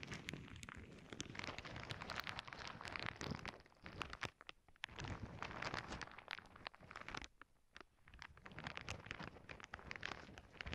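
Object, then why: Plastic zip bag full of small plastic beads. A clear plastic zip bag full of small clear beads lies flat on a cork board while long nails and fingertips press, scratch and squeeze it. Dense crinkling and rustling mix with quick bright clicks and grainy shifting of the beads. The sound comes in bursts, with brief quieter gaps near the middle and again past seven seconds.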